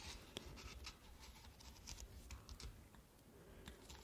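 Long manicured nails tap and scratch a hand-sized, hollow, unlit pink and beige plastic ice-cream-cone night lamp, moving over its textured cone and swirl top. Quiet, quick, dry clicks with bright scratchy edges stop almost instantly, over a soft low rumble throughout.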